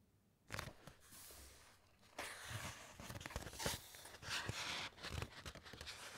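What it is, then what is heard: Thick encyclopaedia pages being scratched. Fingertips and long nails rub and scratch across the printed, thick paper pages of an open large encyclopaedia. Bright, papery rustling and scratchy swipes come in uneven bursts, with short crisp crackles and soft low thumps underneath. The texture stays dry and close throughout.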